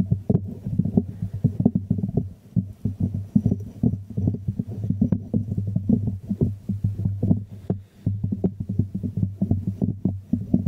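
A small hollow white ceramic jar is held upside down in the hands while fingertips and nails tap rapidly on its glazed ceramic base. The result is a dense, continuous patter of soft, dull, hollow knocks, mostly deep with a low resonance around 195 Hz. Each tap dies away almost at once, with no bright ring.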